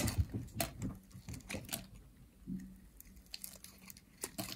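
A metal utility blade shaves flakes off a pink, solid, dry soap bar with a ridged edge. Quiet, irregular crisp scrapes and short bright clicks sit over a faint low hum. Each cut stops dead with almost no ring.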